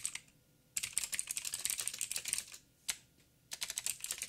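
Two hands type with their fingertips on a backlit 87-key plastic mechanical keyboard with plastic keycaps and clicky blue switches. The bright, sharp clicks come in three bursts of quick keystrokes, with a lone tap between the last two bursts. Each click dies away almost instantly.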